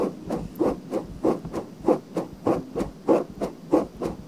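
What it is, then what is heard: Silicone microphone ear. Long nails slowly scratch inside a pale pink silicone binaural microphone ear, making a steady run of soft, dry scraping strokes about every third of a second. Each stroke is a brief muffled rasp centered in the low mids with a faint hiss, fading quickly between strokes.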